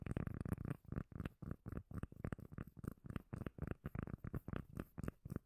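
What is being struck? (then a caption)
Round cork lid. A round, solid, palm-sized cork lid is held close to the mic and tapped and scratched with long nails. About twenty-two quick, muffled, bassy thumps come in a steady run, each dying away almost at once, with soft scratching between them.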